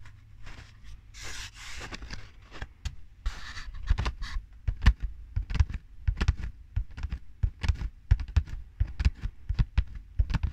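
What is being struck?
Cardboard tube.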